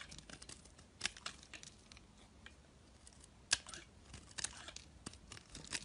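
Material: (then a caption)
Glycerin soap. A utility knife blade shaves and scrapes thin curls off the surface of a solid, hand-sized, translucent orange glycerin soap bar held in the fingers. The result is quiet, bright, crackly scraping, broken by irregular sharp ticks and crisp snaps, with two louder cuts standing out near the first and middle of the clip.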